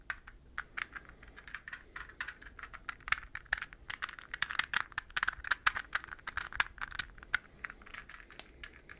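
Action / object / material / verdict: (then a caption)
tap / plastic puzzle ball / plastic / none. A hollow, translucent green plastic puzzle ball, palm-sized and held up close, is tapped and scratched with fingernails. A rapid, irregular stream of short, dry plastic clicks and ticks with a bright, hollow tone is heard. Each tap stops almost instantly, with light scratchy rustling between them.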